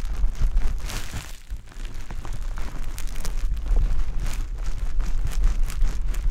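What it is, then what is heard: Wet konjac sponge squeezed. A wet, pale-green konjac sponge puff is held in the hand and rubbed and squeezed against a dummy-head ear. The result is continuous wet squishing and crackling with a heavy low-end rumble, rising and falling in close, irregular pulses.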